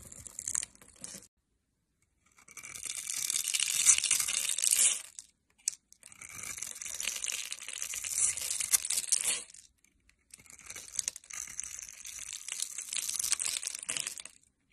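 A metal knife blade cuts and scrapes through a hand-held solid bar of purple and pink swirl-striped soap scored in a grid, breaking off small soap cubes. Three bursts of bright, crisp crunching and scraping are heard, separated by short silences.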